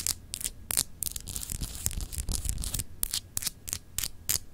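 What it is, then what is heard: Solid glass globe paperweight. A palm-sized solid clear glass globe paperweight is scratched and tapped with long acrylic nails. Bright, short clicking taps and scratchy rubbing bursts come in an irregular rhythm over a low hum. Each tap is dry and dies away almost at once.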